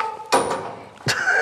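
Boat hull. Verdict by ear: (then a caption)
Hollow. Two knocks on the semi-planing hull of a boat, each a sharp broadband tap with a short hollow ring that decays within about a third of a second. The hull sounds empty.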